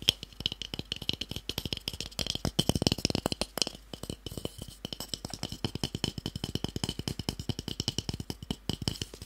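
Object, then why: Small wooden cube block. A small, solid, pale wooden cube held in the hand is tapped rapidly with fingertips and short nails. It makes a dense stream of dry, sharp clicks with almost no ring, a bright tone around 3.2 kHz and a soft low thump beneath. The taps run steadily throughout, swelling slightly louder in the middle.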